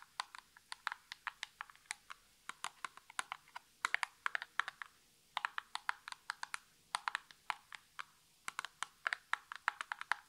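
Natural nails tap quickly on the top face of a small, hollow printed cardboard nail polish box held in both hands. About 53 sharp, dry, clicky taps come in irregular bursts with short pauses between them. Each tap is bright and stops almost instantly, with no low-end thump or ring.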